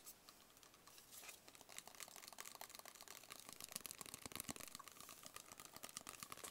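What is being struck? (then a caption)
Small closed cardboard box. Fingertips tap rapidly on a small, closed, hollow black cardboard gift box. The taps are quiet, crisp and bright with almost no low end, each dying away almost instantly, and they grow denser and a little louder after the first couple of seconds.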